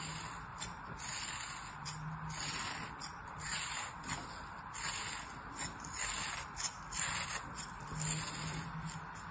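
A fingertip and nail rub and crumble the sliced layers of a solid, palm-sized beige kinetic sand figure scored with parallel grooves as it lies on an open hand. A soft, gritty, bright scraping rises and falls in uneven strokes, with occasional sharper crumbly bursts over a faint low hum.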